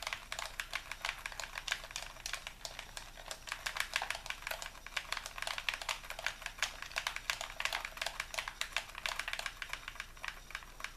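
A hollow white plastic Xbox controller is held in both hands while fingertips and thumbs rapidly press and click its buttons. The result is a fast, steady stream of sharp, bright plastic clicks with almost no low end, each dying away almost instantly over a quiet background.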